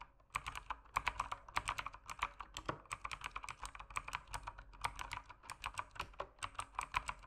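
Fingertips tap quickly across the plastic keycaps of an RGB-lit mechanical keyboard in steady typing. Each keystroke is a short, sharp clack with a crisp, bright top, and it cuts off almost at once. The taps come in rapid bursts with slight pauses between them.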